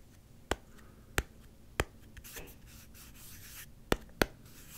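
Five sharp fingertip taps sound on the orange G-logo cap of a small, hollow, clear plastic Gatorade squeeze bottle: three evenly spaced, then two more after a pause. Between the taps, soft, bright rubbing and scratching on the cap rises and fades.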